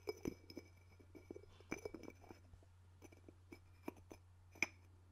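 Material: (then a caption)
Ceramic. Fingertips tap and lift the ceramic lid of a small, hollow white ceramic sugar bowl held in the palm beside the mic, making quiet, short clinks against the rim. Each clink is a bright, glassy tick ringing near 2.3 kHz with a high shimmer, scattered irregularly over a soft steady low hum.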